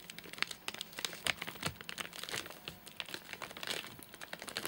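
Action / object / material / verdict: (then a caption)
tap / nougat bar in plastic wrapper / plastic / none. Fingertips tap rapidly on top of a full, flat rectangular nougat bar in a crinkly plastic wrapper. A fast, uneven run of short, bright crinkling taps fills the clip, with little low end and no ring after each tap.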